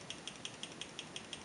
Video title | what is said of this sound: Norinco SKS Disassembly & Shooting | you should be able to shake this and hear that firing pin sliding back and forth